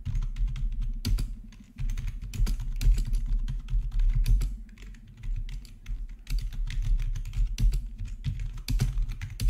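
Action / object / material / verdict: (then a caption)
tap / plastic membrane keyboard / plastic / none. Both hands type with their fingertips on a black plastic RGB membrane keyboard with backlit keycaps resting on a marble surface. A steady run of soft, quick, short clicks and dull low thumps is heard, broken by brief quieter pauses.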